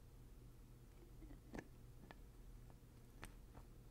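Fingertips twist the black plastic screw cap on and off a small, partly filled glass maple syrup jug with a handle. A few short, quiet clicks and scrapes sound over a low, steady background hum.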